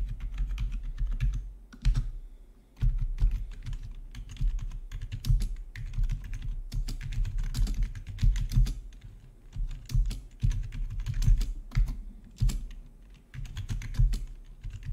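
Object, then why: Plastic computer keyboard. A full-size black plastic gaming keyboard with rainbow RGB backlit keys, resting on a marble-look desk, is typed on with the fingertips of both hands. Fast, steady clicks and clacks of the keycaps run throughout, with a deep low thump under each keystroke and brief pauses between bursts.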